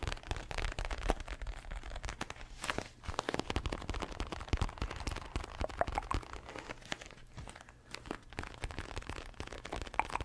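Fingertips tap and scratch the glossy surface of a red padded leather boxing glove held close to a microphone. The result is a dense run of dry crinkly scratches and crunchy taps, with soft low thumps underneath and no ringing between strokes.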